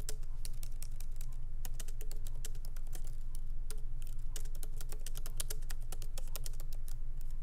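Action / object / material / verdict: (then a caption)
tap / laptop keyboard with plastic keys in an aluminium body / plastic / none. Light typing with the fingertips of both hands on a MacBook Pro laptop keyboard, its small plastic keycaps set in an aluminum body resting on a wooden desk. A steady, irregular stream of short, bright key clicks sits over a constant low hum.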